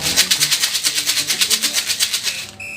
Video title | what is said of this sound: KELAS 4 TEMA 1 SUBTEMA 1 - IPA - BUNYI DAN SUMBER BUNYI | kacang hijau ini ibu goyang-goyangkan ya terdengar